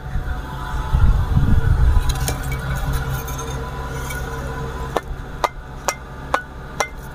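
Second-grade fired clay bricks, taken from a stacked row, are knocked together after a stretch of low rumbling background noise. Five short, dry, bright clacks follow at a steady pace, each dying away almost at once. They have less of the iron-like ring that first-grade bricks give.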